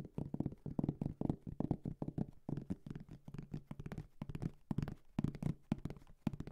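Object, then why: Fabric-covered hard-shell headphone case. A round, dark gray, medium-size hollow hard-shell headphone case covered in fabric is held in both hands and tapped and scratched with fingertips and nails. The result is a rapid, irregular stream of soft, dull taps with a low, hollow body around 148 Hz and almost no high end. The taps die out at once, with faint scratchy rustles between them.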